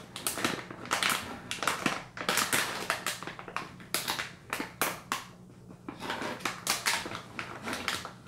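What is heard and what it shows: The filled back of a Caltrate soft chews plastic pouch is tapped and scratched with long nails and fingertips. The result is a rapid series of sharp, bright crinkling bursts with scratchy rustling between them.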